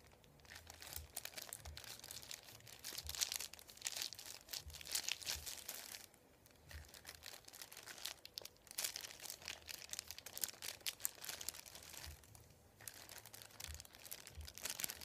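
Fingertips and a palm press, rub and crinkle a thin, folded, white printed paper sheet lying flat on a wooden table. The result is dense, bright, crisp crinkling and rustling that goes on almost continuously, with brief quieter pauses around the middle and near the end.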